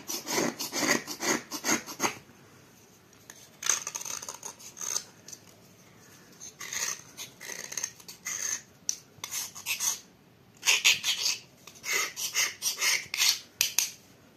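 A small metal knife scrapes downward along a solid grey dried clay block held upright over a plate, and grey powder falls away. The sound is a dry, bright rasping in short, irregular bursts of strokes separated by quiet pauses.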